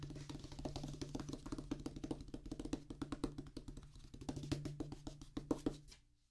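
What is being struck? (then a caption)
Rubber practice pad on a wooden base. Fingers and fingertips of both hands drum rapidly on a flat oval drum practice pad with a black rubber top on a solid, light wooden base. The result is a fast, steady stream of dull, short taps with a low woody tone and almost no ring. The taps vary in loudness and stop just before the end.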